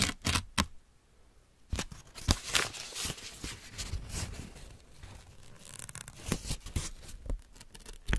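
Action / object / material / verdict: scrape / thin paper sheet / paper / none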